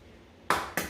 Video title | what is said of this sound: Flexible Schedule Baking: Chocolate Chip Cookies | so i always tap on the counter i tap until i hear that crack sound